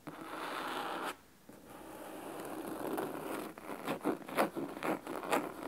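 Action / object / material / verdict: scrape / cloth-bound hardcover book / cloth / none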